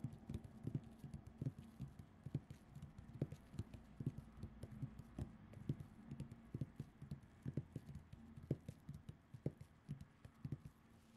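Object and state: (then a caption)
Cotton terry towel scratched with nails. Long acrylic nails on both hands scratch and rub across a flat, printed cartoon cotton terry towel lying on a fluffy surface, with the microphone resting beside it untouched. A steady run of quick, muffled scratches and soft taps sounds dull and low, with each one dying away almost at once over a quiet cloth hiss.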